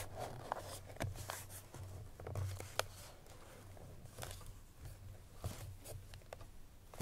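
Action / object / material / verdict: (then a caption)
tap / paperboard perfume box tapped and scratched with fingernails / paperboard / none. Long fingernails tap and scratch the front face of a hollow cream paperboard Chloé perfume box with the bottle inside. Quiet, sharp, dry clicks with bright scratchy edges sit over a steady low hum, and each tap dies away almost instantly.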